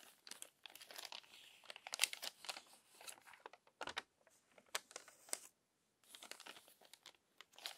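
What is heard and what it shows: Crinkly pages of a crumpled glossy paper magazine are turned by hand, making quiet, bright bursts of crinkling and rustling. The paper noise sits almost entirely in the high range with no low end. There is a brief silent pause about two-thirds of the way through before the crinkling resumes.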